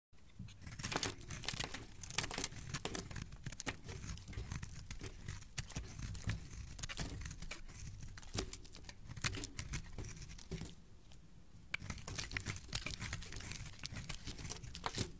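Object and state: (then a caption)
Bar of soap being carved. A metal utility blade scrapes and carves a solid, palm-sized pink bar of soap held in the hand, shaving off curls and flakes. Dense, crisp scraping and crackling strokes run steadily throughout, with bright sharp edges over a soft low rumble.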